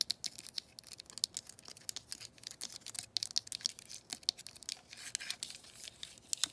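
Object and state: Plastic telephone handset, tapped and scratched.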